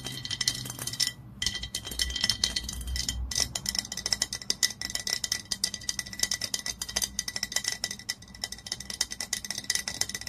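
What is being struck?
Dark glass bottle.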